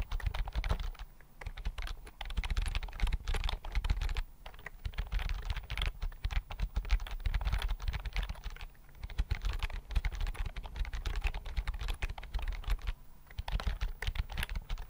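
Fingertips type steadily on a thin white plastic keyboard with flat chiclet keys, held in both hands. Rapid soft clicks and dull, low-heavy taps die away almost instantly, with brief pauses between bursts of typing.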